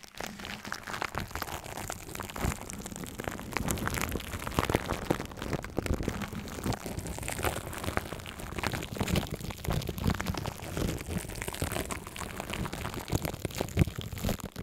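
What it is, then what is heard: Crinkled aluminium foil. Long nails scratch a hollow, loose layer of crinkled aluminium foil wrapped around a microphone head, while fingertips rub and tap it lightly. The result is a dense, continuous crackle and rustle of quick, dry clicks with a muffled, low-heavy body and steady, soft level throughout.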